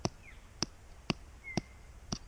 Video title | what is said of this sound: Discover The Nature, The Wonders Around Us. Part 2 | if you give it a flick and it sounds Hollow it's ready and that does not sound hollow